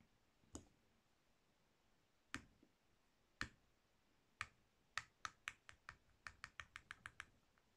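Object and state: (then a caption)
Soap bar being carved. A palm-sized solid pink soap bar with an embossed surface is scraped and carved with a metal blade tool held in the fingers. It makes 16 crisp, bright clicky shaving sounds, sparse at first, then coming in a quick, steady run toward the end. Each click is short and dry, with little ring, over a quiet background.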